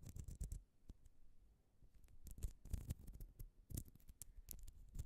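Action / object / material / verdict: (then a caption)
scrape / plastic spiral coil toy / plastic / none. A small, thin, hollow orange plastic spiral coil cat toy is held between both hands above the microphone while long glitter acrylic nails stretch, twist and scratch along the coil's ridges. The result is quiet bursts of rapid, dry scratching and clicking with a soft low rumble underneath, each tick dying away almost instantly.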